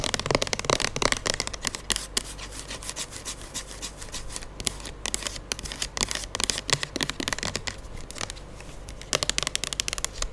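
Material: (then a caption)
Plastic. Long fingernails tap and scratch the sides and label of a square plastic pump soap bottle, full of gold liquid and held close to the mic. Quick, bright clicks and dry scratching come in dense bursts, with quieter stretches of lighter scraping between them.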